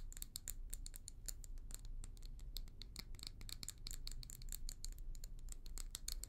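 A small hollow amber glass tumbler with a leopard-print pattern is held in both hands while long nails rapidly tap and scratch its outer wall. Dense, quick, bright clicks and scrapes run continuously over a steady low hum, with each tap dying away almost instantly.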